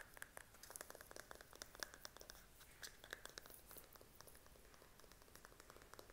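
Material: Plastic.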